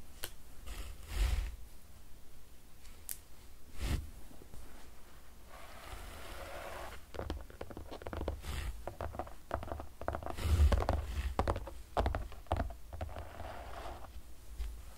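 A full-size white-bezel Apple iPad 8th generation (2020) with a glass screen and aluminum body lies flat on a desk, screen off, with a protective film just applied. Fingertips and short nails tap and click across the glass in a steady, quiet run of soft, dull taps with faint scratchy clicks, mostly low in tone, with a few louder knocks.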